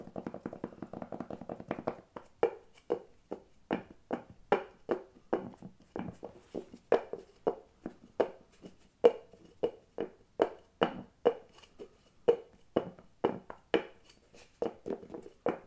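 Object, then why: Small glass jar with bamboo lid. Fingertips and nails tap and handle the round bamboo lid of a small clear glass storage jar, filled with cotton pads and cotton buds and held in one hand. A quick flurry of rapid taps opens the clip, then settles into a steady run of separate, short, dry knocks with a mid-pitched hollow tone and almost no ring.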